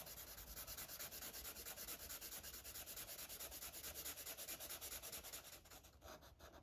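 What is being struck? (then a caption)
Felt-tip marker on paper page. A yellow Sharpie felt-tip marker is rubbed rapidly in small circles on a paper coloring book page to fill in a sun drawing. A steady, bright, scratchy rubbing hiss pulses at about 140 strokes per minute, growing a little quieter and more uneven near the end.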